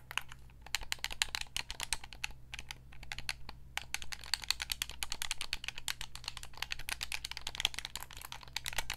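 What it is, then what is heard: Hollow plastic game controller tapped with nails. Long nails tap rapidly on the buttons and shell of a white Xbox 360 gamepad, a hand-sized, hollow controller made of hard plastic and held up close. The taps make dense, sharp, bright clicks with almost no ring, coming in quick bursts with brief pauses. A steady low hum runs underneath throughout.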